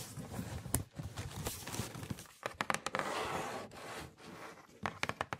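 Long acrylic nails scratch and tap the printed lid and side of a red Nike cardboard shoebox, hollow and closed, held up in the air. Dry, papery scratching and rustling fill the clip, broken by sharp, bright taps. The taps stop at once with no ring.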